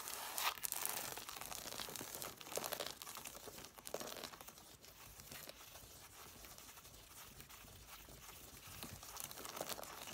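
Long nails scratch and rapidly tap the solid paper page edges of an angled stack of red cloth-bound hardcover books. The result is a dry, crisp, bright scratching and crinkling texture with quick, irregular taps that die away almost instantly. It is busiest and loudest in the first few seconds, then settles into a quieter, steady scratching.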